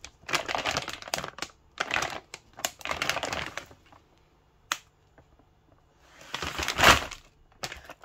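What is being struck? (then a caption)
Plastic film bag of frozen samosas. A full, printed plastic-film bag of frozen samosas is held in the hand while fingertips tap and crinkle its surface. Bursts of bright, crisp crackling alternate with sharp isolated taps and brief quiet gaps.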